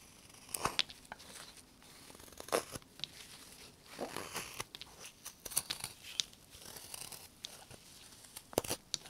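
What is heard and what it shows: A carving knife whittles a solid, light limewood bird blank held in a gloved hand, cutting in steady strokes. Dry, crisp shaving and scraping rasps come in short bursts, bright and papery with little low end. Some sharper snaps of the blade biting the wood stand out between the cuts.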